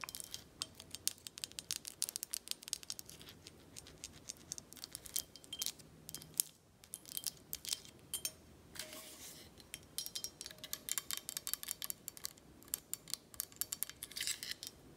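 Long acrylic nails tap on a full, faceted amber glass tequila bottle held in hand, striking the glass facets and the black cap top. Rapid, dense clusters of sharp, bright clicks and ticks ring only briefly, with little low end, and some scratchy rustling between the taps.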